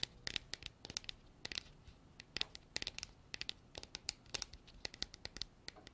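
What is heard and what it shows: Long black artificial nails tap and scratch the sides of a hand-sized, hollow, white frosted hard plastic container with an embossed texture that appears empty. The result is a quiet, rapid, irregular series of sharp, bright clicks and crinkly scratches with almost no low end. Each tap dies away instantly, with no ring.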